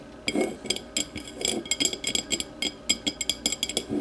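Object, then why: Thick glass tumbler tapped with fingernails. Long matte nails tap and scratch the thick base and sides of a small, empty, clear glass whiskey tumbler. The result is a quick, uneven run of bright, high glassy clicks and clinks that die away almost instantly, over softer scraping and rubbing.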